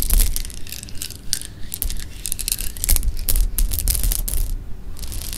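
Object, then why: Pile of sugar-coated jelly beans. Fingertips drop and stir a pile of small, solid, hard-shelled sugar-coated jelly beans on a pink cloth. The beans click and rattle against each other in dense bursts of bright, crisp ticks over a soft low thudding, continuing throughout the clip.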